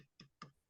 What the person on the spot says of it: I don't know if you can hear it but it's Hollow